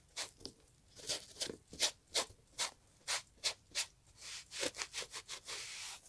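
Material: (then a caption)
Leather. A gloved hand scrubs the leather upper of a brown Italian leather loafer with cream textile panels, which has a shoe tree inside, using a green and yellow sponge. It produces a series of quick, bright, airy rubbing strokes at an uneven pace, becoming faster and closer together toward the end before blending into a longer continuous scrub.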